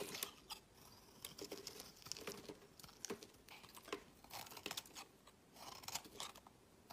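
A solid green bar of soap is picked up from a woven mat and shaved with a utility knife into green curls, while a second green bar lies still nearby. Quiet, bright crunching scrapes come in short bursts as the blade cuts through the soap, with soft crinkly rustles between strokes.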